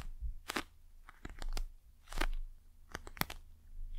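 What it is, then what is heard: Plastic gel eye mask. Long nails and fingertips tap and scratch the surface of a flat, soft, gel-filled eye mask in a patterned plastic shell, held flat in front of the mic. Short crunchy, crackling taps and scratches come in uneven bursts, with sharp bright clicks over a heavy low rumble. Each tap dies away almost instantly.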